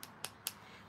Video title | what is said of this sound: Watch me Do My Nails #acrylic #Live #nails #freestyle | How you know that your acrylic is dry, you just tap it.